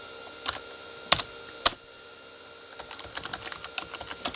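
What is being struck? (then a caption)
Plastic membrane computer keyboard. Both hands type with their fingertips on a Corsair K35 plastic membrane keyboard with red backlit keys. Three sharp, bright clacks stand out over a faint steady hum in the first two seconds, followed by a quick run of softer, irregular key taps. Each tap is dry and short with almost no ring.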